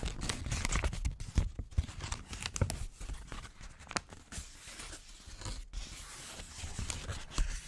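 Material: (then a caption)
Paper. A wrinkled handwritten paper sheet is held against the microphone with both hands and crumpled and rubbed with the fingers. Dense crinkling and crackling rustle comes through in uneven bursts, with sharp louder snaps and a heavy low rumble from the close handling.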